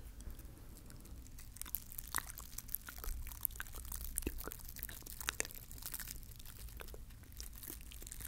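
Fingertips scratch and rub the stiff bristles of a small green plastic bottle-brush mini Christmas tree, held sideways close to the recorder. Dense, crackly scratching and ticking fills the clip with bright, sharp clicks over a steady low rumble.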